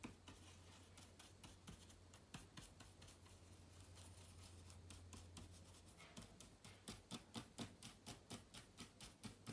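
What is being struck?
Plastic laptop keys in an aluminium body.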